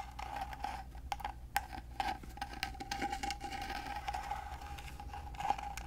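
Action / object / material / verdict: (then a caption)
tap / carved wooden box / wood / none. Fingernails scratch and tap the carved lid of a small, rectangular, gold-painted carved wooden box that is hollow and held upright. The result is a quiet, steady run of dry scratching with short, sharp taps that ring briefly around 800 Hz, over a faint low hum.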